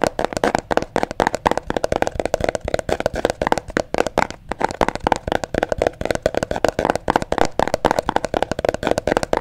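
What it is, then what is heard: Hollow cardboard box. A small, hollow, mint green cardboard box is tapped and scratched with nails and fingertips. The result is a rapid, steady stream of dry, papery clicks and scrapes centered in the mid range, with little bass and almost no ring after each touch.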